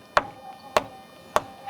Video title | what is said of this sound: నిర్మల్ గుట్టలపై రాగాలు పలికే రాళ్లు! - ABN Special Drive on Nirmal Hills Musical Stone History - | పక్కన రాయిని కొడితే అసలు ఫ్లాట్ ఏమీ లేదు